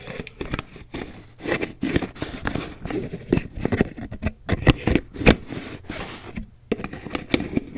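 Long nails tap and scratch the green plastic lid and body of a medium white plastic Aveeno cream jar. Quick, dry clicking taps are mixed with rustling scratches, and each sound dies away almost instantly with brief quiet gaps between bursts.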